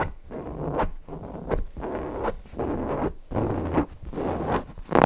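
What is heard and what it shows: Fingernails scratch the appliqué eye and polka-dot fabric of a stuffed cotton owl cushion. A series of soft, dry, papery scratching rasps comes in uneven bursts with short pauses between them. The sound sits mostly in the low and middle range, with little brightness.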